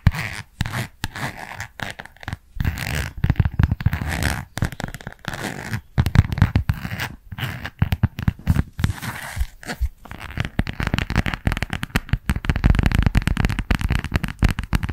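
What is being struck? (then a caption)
Plastic phone case on a smartphone. Long nails scratch and tap the back of a white plastic phone case printed with red lips, fitted on a smartphone held close to the mic. The result is dense bursts of dry scratching and quick clicky taps, heavy in low thump, with brief pauses between runs and no ring after each contact.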